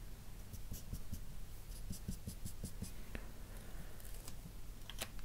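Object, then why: Felt-tip marker on drawing paper. A dark felt-tip marker's nib rubs short shading strokes across a sheet of flat white drawing paper while the other hand rests still. A run of quick, dry scratchy strokes with bright hissy edges sits over soft low thumps and a steady low hum.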